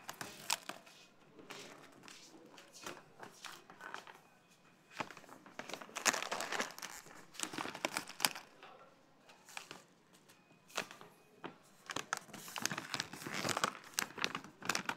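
A full, medium plastic stand-up pouch of Lizi's granola is held and turned in the hand in a supermarket aisle while the fingers crinkle its film. Bright, crackly crinkling comes in irregular bursts with quiet pauses between them, growing denser and louder in the middle and toward the end.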